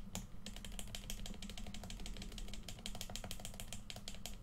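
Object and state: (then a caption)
Hollow plastic game controller. Fingertips click the buttons of a hollow red plastic PS4 controller, then the fingers tap its right grip. The result is a quick, steady run of short, dry, bright clicks and taps over a soft low hum.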